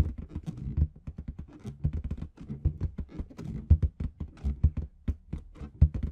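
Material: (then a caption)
Latex. Long red nails tap and scratch a large, hollow, inflated clear latex balloon with red confetti at the bottom. A rapid, uneven series of dull, low thumps comes with soft rubbery scraping, each tap dying away almost instantly.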